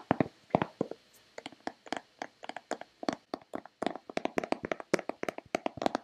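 Long red-painted nails tap and scratch a hollow white plastic Nivea lotion bottle in a quick, uneven run of about 36 sharp, dry clicks. The clicks have a hollow midrange knock near 670 Hz and bright tips, and each dies away almost instantly with little low end.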